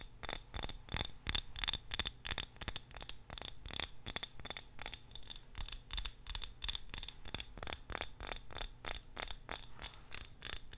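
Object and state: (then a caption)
Glass candle jar. A small purple-tinted glass jar filled with candle wax is held in both hands and tapped and scratched with long nails. About forty quick, irregularly spaced clicks and scrapes follow one another, each with a short, bright glassy ring that dies away almost immediately, over a low background rumble.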